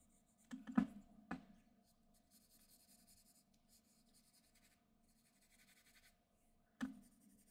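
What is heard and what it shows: A graphite pencil held in the fingertips scratches fine lines across a flat white sheet of drawing paper resting on a desk. Sharp scratchy strokes land in a quick cluster at the start, followed by soft, steady rubbing through the middle. One more crisp stroke comes near the end, all at a low volume.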